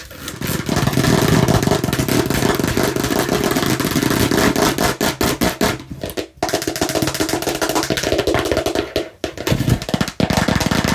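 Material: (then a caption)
Plastic. A fake plastic toy watermelon slice is tapped and scratched aggressively in a dense, nonstop stream of quick, dry clicks and rasping scrapes. The sound is fullest in the low-mids and dies away almost instantly after each hit, with only brief dips near 6, 9 and 10 seconds.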